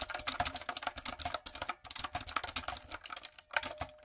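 Fingertips and long acrylic nails type quickly on a light-up, typewriter-style plastic mechanical keyboard with round plastic keycaps. It makes a dense run of sharp, bright clicks and clacks with very short decay. The clip has a brief pause near the middle, and a faint steady tone sits underneath.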